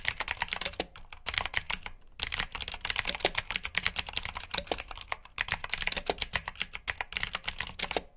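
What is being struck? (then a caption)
Plastic mechanical keyboard. Fingertips with short nails type on a full-size black plastic mechanical keyboard with RGB backlit keycaps, clicky blue switches and hollow key housings. Rapid, bright, sharp clicks come in fast bursts with brief pauses between runs, each click dying away almost instantly with little low end.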